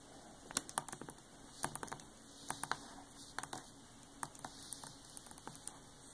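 Long acrylic nails and fingertips of both hands tap and scratch across the glossy printed paper dust jacket of a large hardcover Gustav Klimt art book lying flat and closed. Sharp, bright clicks come in irregular clusters over a faint papery hiss, with quick, dry ticks that stop at once.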